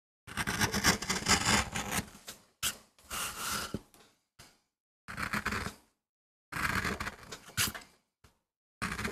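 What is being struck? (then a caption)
MDF board carved with a metal gouge. A metal gouge carves and scrapes the surface of a small, flat, solid MDF board with short strokes. Bursts of dry, bright, broadband scraping and crackling are heard, separated by brief silences between strokes.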